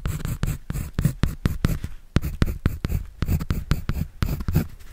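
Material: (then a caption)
Paper. A pencil scratches and draws on a white paper sketch pad held by hand. A rapid series of short, dry scratching strokes with bright streaks over a soft, low rumble.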